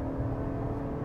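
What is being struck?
Nothing is struck.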